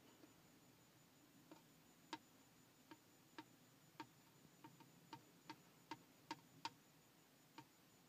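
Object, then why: Plastic car speedometer gauge lens. Fingertips and nails tap on the clear plastic lens of a large round Mini Cooper speedometer with a chrome bezel. The result is a series of short, dry, irregularly spaced ticks with a bright click around 900 Hz over a quiet, faint hiss.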